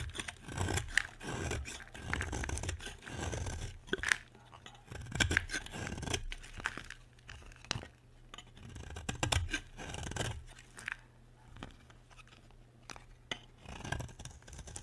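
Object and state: Dry bar soap being scraped.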